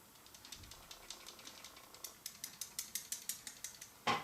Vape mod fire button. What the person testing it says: the button has a slight rattle to it